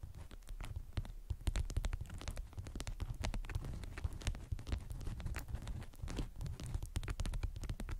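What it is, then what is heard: Beeswax fabric wrap. Long acrylic nails scratch and tap a patterned beeswax-coated cotton wrap twisted around a small round object, like a wrapped candy. The result is a dense, continuous run of quick dull taps, scratches and waxy crinkles. The sound is mostly low and muffled, with short bright clicks throughout.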